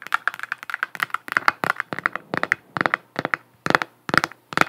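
Long nails tap and scratch a hollow plastic galaxy moon lamp, a galaxy-print sphere that is being held up. The result is a rapid, uneven series of short, dry clicky taps with a hollow midrange tone around 1.4 kHz and brief scratchy brushes between them. Each tap dies away almost instantly, with no ring.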